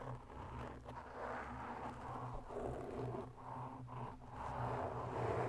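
Long natural nails of both hands scratch slowly around the edges and face of a black round foam microphone windscreen. The result is a continuous soft, dense scraping rustle centered in the low-mid and mid range, with a steady low hum underneath and little high content.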